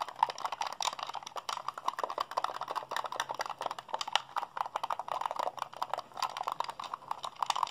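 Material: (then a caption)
Plastic. A white, hand-sized, hollow plastic Xbox controller is held in both hands while fingertips rapidly press and mash its buttons and sticks. A fast, steady stream of dry, clicky plastic presses sits in the midrange with a brighter snap on the sharpest hits, each click dying away almost instantly.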